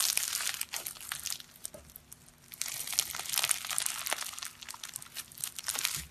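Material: Foam beads.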